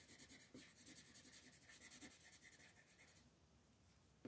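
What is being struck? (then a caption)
Paper coloring book page with wooden colored pencil. A wooden colored pencil is rubbed in short, quick shading strokes across a flat printed paper coloring book page lying on a table, while the other hand, with long green nails, holds the page. The strokes make a steady, bright, papery scratching for about three seconds, then fade to a faint hiss before a brief soft bump at the end.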